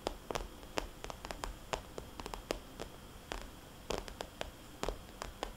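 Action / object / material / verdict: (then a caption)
tap / plastic cosmetics bag / plastic / none. Long nails on both hands tap a small, glossy, red polka-dot plastic cosmetics bag lying flat. About twenty quick, dry, clicky taps land in irregular bursts, each sharp and bright with almost no ring, over a faint steady hiss.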